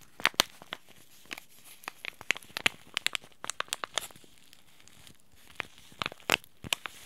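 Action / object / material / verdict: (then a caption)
scrape / paper-foil laminate tea sachet / paper-foil laminate / none. Fingertips fold and crinkle a small white Throat Comfort tea sachet made of paper-foil laminate with a tea bag inside. The result is a string of sharp, bright, dry crackles and crinkles with almost no low end, each snapping off instantly. The crinkles come in quick irregular bursts, with a brief quieter stretch near the end.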